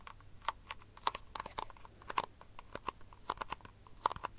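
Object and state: Empty plastic cup, hollow.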